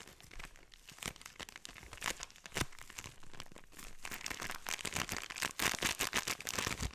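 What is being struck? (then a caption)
Plastic bag filled with kinetic sand. A hand-sized clear plastic bag full of purple kinetic sand is squeezed and rubbed with fingertips and thumbs, so the plastic crinkles. Dense, bright crinkling and crackling sounds are broken by sharp snaps, growing busier and louder toward the end.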